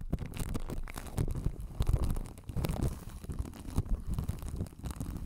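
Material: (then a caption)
Plastic film. Long acrylic nails scratch and tap over clear plastic cling film wrapped around a hollow white spherical desk microphone with a metal mesh grille, working over both its body and grille. A dense, continuous run of crinkly scratching and soft tapping is heard, heavy in low, muffled thumps with quick, irregular bursts that die away almost instantly.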